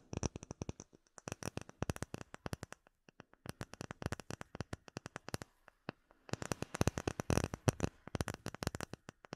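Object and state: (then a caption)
Acrylic plate. Long nails tap rapidly on a solid, clear acrylic plate with embedded bubbles. Quick, dry clicks come in dense bursts with brief pauses near three and six seconds. The tapping then turns faster and louder, each tick ending instantly with no ring.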